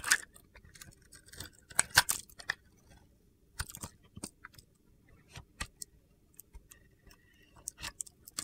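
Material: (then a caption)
Soap. A metal box-cutter blade carves chunks from the white inside of a solid, palm-sized pink glitter bar of soap. Short, dry, crunchy scrapes and snaps come in irregular bursts, bright and crisp with almost no low end. Each one cuts off quickly against a quiet background.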